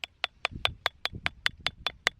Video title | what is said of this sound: Metal Detecting Ontario: The Field Of Spoons | It's getting hollow sounding. That means the rock's breaking.